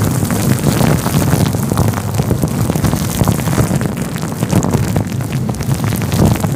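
A fluffy grey-white faux fur windscreen covering a microphone is stroked and rubbed with the fingers of both hands. The result is a steady, dense, low rumbling rustle with soft crackling brushes running throughout, heavy in the low end with little high content.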